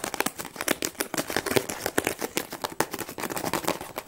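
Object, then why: Closed cardboard tea box. A closed, hollow cardboard tea box held in the hands is tapped and scratched quickly with long nails on its flat sides. A rapid run of short, dry, hollow taps mixes with crisp, bright scratching and crinkling, each hit dying away almost instantly.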